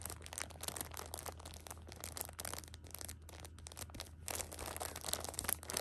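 A flat hand with long pink nails rubs and scratches across the plastic film wrap of a pocket tissue six-pack lying flat. The result is a dense, irregular stream of crisp, bright crinkling bursts over a steady low hum, growing louder near the end.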